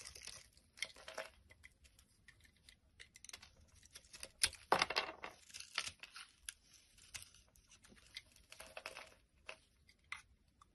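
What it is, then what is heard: Bar of soap being shaved. A black-handled blade scrapes flakes off a solid, light-green, rounded bar of soap held in the hand. Quiet, crisp, bright scraping and crackling come in quick, irregular strokes, with one louder, rougher scrape near the middle. Between strokes the sound is nearly silent, and there is no low rumble.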